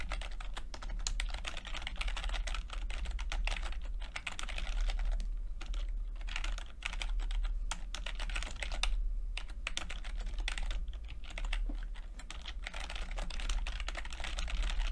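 Fingertips type steadily on a plastic backlit chiclet computer keyboard with plastic keycaps. The result is a dense stream of short, bright clicks over a constant low hum, with brief lulls around six and nine seconds.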